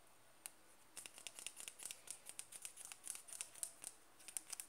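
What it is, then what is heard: Plastic cream jar. Fingertips tap and scratch the side wall and lid rim of a small, round, closed white plastic Nivea cream jar. A single bright tap is followed by a pause, then a quick, uneven run of dry, crisp clicks with faint scratching that breaks briefly near the end. The taps are quiet, high and hollow, and they die away instantly with little low end.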